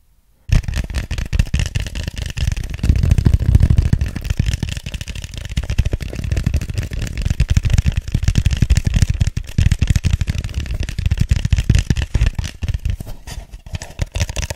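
Fingertips and short nails tap and scratch the sides of an empty, hollow white foam cup, about drink-cup size, held upside down near the mic. After a brief silence, a dense, continuous run of quick, soft hollow taps and scratchy rustles follows, with low, thumpy body and a faint dry hiss on top. Each tap dies away almost instantly.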